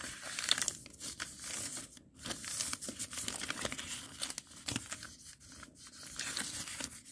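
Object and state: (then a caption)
Lined notebook paper sheet. A single thin, already-creased sheet of white lined notebook paper lying flat on a concrete floor is pressed, crinkled and rubbed against the floor by the fingertips of both hands, with some tearing. Dense, bright crackling and crinkling rises and falls in short bursts, with little low end.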